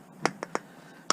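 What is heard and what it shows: Four short, dry taps on a lens from a ceiling-mounted projection TV being broken down, each a bright click that dies almost instantly with no ring. The dull, non-ringing tone marks the lens as plastic rather than glass.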